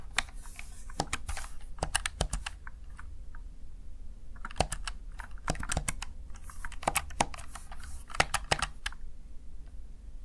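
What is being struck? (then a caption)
Plastic gaming keypad keys. Fingertips tap the keys of a plastic, backlit Razer Tartarus Chroma gaming keypad. Bright, sharp key clicks arrive in irregular bursts and pauses over a steady low background rumble. Each click dies away almost instantly.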